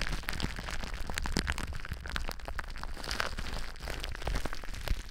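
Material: Plastic.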